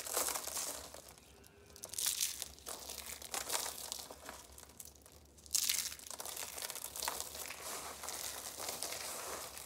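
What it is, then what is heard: Dry soap curls being crushed. Dry red soap curls, shaped into roses and piled as flakes, are crushed and crumbled in the hands. The result is a dense, bright, crinkly crunching that comes in uneven bursts, with short quiet gaps and a sharp louder crunch just past the midpoint.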